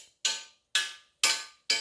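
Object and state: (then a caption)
Loud clank of bare metal treestand struck by arrow. A carbon arrow is knocked four times against a bare, unpadded section of a metal treestand that has no stealth strip covering it. Each hit gives a loud, bright metallic clink with a short ring, showing the uncovered metal is noisy.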